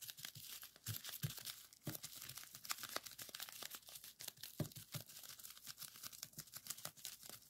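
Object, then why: Plastic bubble wrap sheet. A folded strip of clear plastic bubble wrap lies on a table while fingertips squeeze and pop its bubbles. Rapid, dense crackling and sharp snapping pops mix with bright, crinkly plastic rustle throughout, each pop dying away almost instantly.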